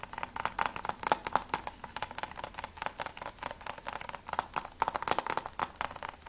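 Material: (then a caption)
Plastic. Fingertips and nails tap rapidly on the front cover of a closed hard-plastic PS3 game case for Mirror's Edge with a clear sleeve, held in both hands. The result is a fast, uneven stream of short, dry clicks with a hollow tone near 850 Hz and bright edges, each dying away almost instantly.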